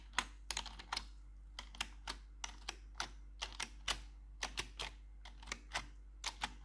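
A gloved hand with metal claw nails taps the keycaps of a black plastic RGB backlit computer keyboard. About two dozen sharp, bright clicks come in quick, uneven bursts over a quiet, steady low hum. Each tap dies away almost instantly.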